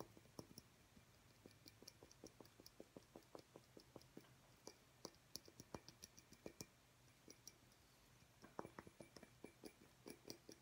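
A small, hollow, clear glass incandescent light bulb with a metal screw base, held in one hand over a wooden table, is tapped with the fingertips and nails of the other hand. The result is a quiet, irregular run of short, dry glassy ticks with a faint bright ring that dies almost instantly, over a low steady hum.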